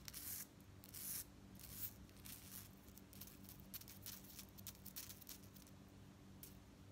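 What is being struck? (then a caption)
Metal bead necklace with chain fringe. Long nails scratch across the beads of a gold-tone metal necklace with hanging chain fringe, and the fringe is held up and shaken. Quiet, bright scratchy rasps and light metallic clinks come in quick bursts over a faint, steady low hum.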